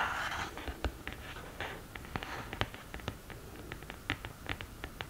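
Long green nails scratch the upright printed lid of an open cardboard eyeshadow palette, then move on to the pans. The result is a soft, dry scratching rasp broken by many short, sharp, bright taps and clicks that die away almost instantly.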